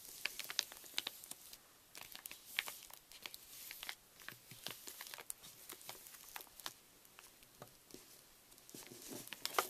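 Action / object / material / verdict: scrape / metallised plastic foil candy bag / plastic foil / none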